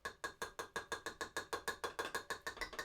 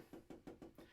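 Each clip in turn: First: Rapid, evenly spaced bright clicks of a tool tapping in a bare hard plastic tray with no padding. Second: Five soft, evenly spaced taps, low and dull, dying almost at once: a tray with a padded floor.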